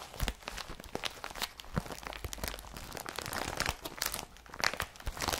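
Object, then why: Woven polypropylene carrier bag. An empty blue IKEA BRATTBY woven polypropylene carrier bag is rubbed and scratched with the fingers. Dense, bright crinkling and scratchy rustling come in quick, dry bursts with soft thumps underneath and almost no ring.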